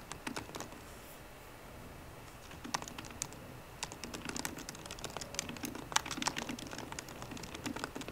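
Fingertips with short green nails tap rapidly on the low-profile plastic keys of a 13-inch aluminum MacBook Pro keyboard. The short, bright clicks come in uneven bursts with a soft low thud under each. After a brief quiet stretch near the start, the typing picks up and grows busier toward the end.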